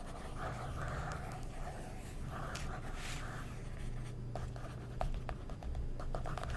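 A wooden stick traces along a figure printed on the semi-gloss paper page of an open glossy magazine with a scratching motion, while fingertips with short nails hold the page. Soft, papery scratching strokes sit over a steady low hum throughout. In the second half, brief dry ticks and taps come through between the strokes.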